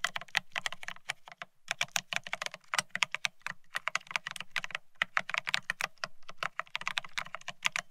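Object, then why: Mechanical keyboard with ceramic keycaps on a steel plate. A Bear65 mechanical keyboard with blank white matte ceramic keycaps (Cerakey) on a steel plate, resting on white cloth, is typed on rapidly with the fingertips of both hands. Dense, short, bright clicky keystrokes come in quick bursts with brief pauses. Each strike is crisp and dies away almost instantly, with a faint low thud beneath.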